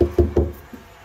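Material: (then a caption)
Plaster. Three dull, solid knocks land on a plaster joint compound repair patch on drywall that was dried with a heat gun. Each knock is short and low-pitched, with almost no ring and no high-frequency content. The solid sound shows the patch is dry and ready to sand.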